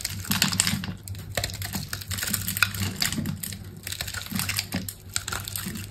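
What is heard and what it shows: A utility knife blade cuts a grid into a solid rectangular bar of green soap with a black outer layer, held in a hand with long pink nails, and scrapes off small cubes. Rapid, crisp, bright clicks and crunches follow one another quickly, over a steady low hum.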